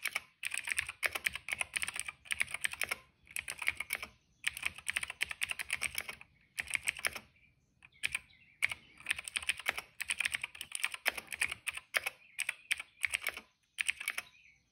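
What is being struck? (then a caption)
Plastic mechanical keyboard. A retro-style cream plastic mechanical keyboard with dark and purple plastic keycaps and a hollow case rests on a rug while the fingertips of both hands type steadily on its keys. Quick bursts of sharp, bright plastic clicks and clacks come in clusters separated by short pauses, each keystroke ending almost instantly with no ring.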